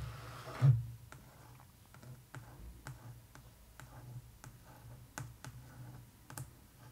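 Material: Laminated cardboard.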